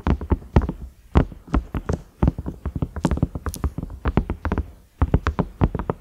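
Fingernails tap and scratch the round knob and concentric ridges of a large cream, ridged silicone microwave lid. The result is a rapid, irregular run of short, dull thuds with a deep low-end body and crisp bright clicks that die away almost instantly. Brief pauses break up the bursts.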